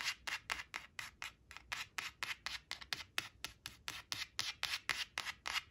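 Long acrylic nails trace the number on a thin, flat laminated cardstock flash card printed "5 five," resting on a woven cloth, scratching its glossy surface. There are 23 quick, bright, papery scratching strokes, about four per second with a loose, uneven rhythm. The sound is almost entirely high-pitched, with very little low end.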